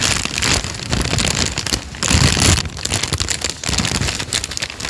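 Fingertips fold, flex and crinkle a thin, light-brown folded paper sheet, making dense, continuous crackling with a bright, hissy top and a soft low rumble underneath. The crinkling swells into a louder, fuller burst partway through, then settles back into steady rustling.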